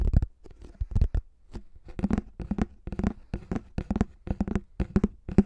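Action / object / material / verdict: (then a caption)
tap / thin plastic flying disc / plastic / none. A pink plastic frisbee with a face print and a thin hollow shell is slowly scratched and tapped on its top surface with fingertips and short nails. Soft, dry taps and scrapes repeat in uneven clusters, each with a hollow low body around 200 Hz and almost no high ring.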